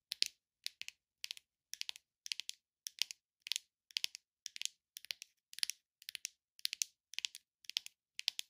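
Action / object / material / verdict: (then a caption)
tap / leatherette-covered box tapped with long nails / leatherette / none. Long, glittery acrylic-style nails tap and scratch the sides and edges of a small, hollow, rigid red textured leatherette gift or jewelry box with gold pinstripes, its contents not visible. Quick clusters of dry, bright clicks repeat at a steady, rhythmic pace, each dying away instantly with no low-end body. The result is a quiet, crisp, high-pitched tapping texture throughout.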